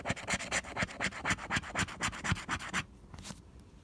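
A single flat cardstock scratch-off lottery ticket is held down by fingertips while a pink plastic scraper scratches off its latex coating, progressively revealing the numbers. Quick, regular back-and-forth strokes make a dry, bright rasping scratch with a soft low thump on each pass. After about 2.8 seconds the strokes stop and only a faint, quiet scrape follows.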